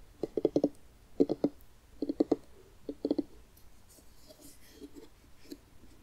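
Fingertips and nails tap and scratch the rind of a medium orange jack-o'-lantern pumpkin, hollow and scooped out with a carved face, held up in both hands. Four quick bursts of short, dry, hollow low-mid taps come in the first few seconds, then fade into softer, scattered scratching and light tapping.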